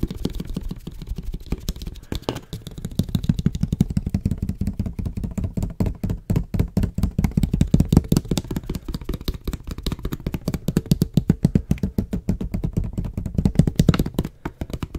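Fingertips and nails tap rapidly on the body of a medium clear plastic water bottle with a white label, hollow and holding some water, held close to the mic. The result is a dense, steady stream of short, dull, low-pitched hollow knocks that die away almost instantly, with little brightness.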